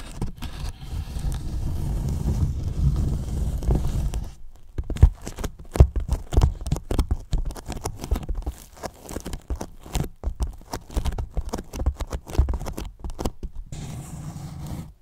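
Fingertips tap, rub and scratch the side and top of a large, hollow white polyethylene foam box. A low, steady rubbing hum opens the clip, then gives way to many quick, dry taps and scratches. The rubbing returns near the end.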